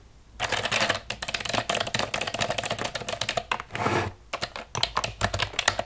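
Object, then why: Plastic computer keyboard. Long nails tap fast on the keys of a hollow black plastic computer keyboard lying on a wooden table. The result is a dense run of short, bright clicks and clatter with almost no ring. Near the end there is a brief softer, smeared swell, then more quick taps.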